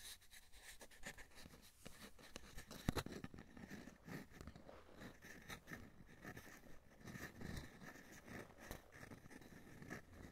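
An empty, short, hollow brown cardboard toilet paper roll is held upright in both hands while fingertips and nails tap and scratch its outer wall. Quiet, dry, hollow tapping mixes with soft scratching throughout, with one sharper tap standing out near the three-second mark.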